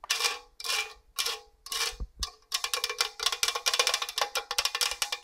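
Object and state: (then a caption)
Stainless steel box grater. Long orange nails scratch and tap the fine raised grating face of a hollow stainless steel box grater. A few slow, bright rasping scrapes give way to a quick run of sharp metallic taps, each with a short high ringing tone around 2.4 kHz.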